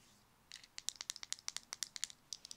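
Long nails tap quickly on a small, round, white plastic cosmetic jar with a black screw lid held in the hand as it is shaken and its contents rattle. About fifteen sharp, dry, bright clicks come in an uneven run after a quiet start, each dying away at once with almost no low end.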